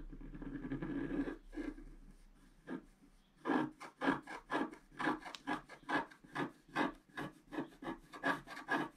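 A pointed wooden stick scratches a flat coated scratch-art sheet lying on a table, making a dry, raspy scraping sound. A steady scratch and a few scattered strokes give way after a short pause to quick, rhythmic back-and-forth strokes at about two per second. Each stroke is short and gritty, with no ringing after it.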